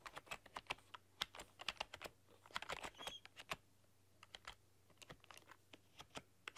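Long, dark-polished nails and fingertips type on a full-size plastic computer keyboard with black keycaps and a rainbow RGB backlight, pressing and clicking the keys. The result is an uneven, quick run of short, sharp, bright clicks and taps with almost no ring, some coming in dense bursts and others spaced apart over a faint low hum.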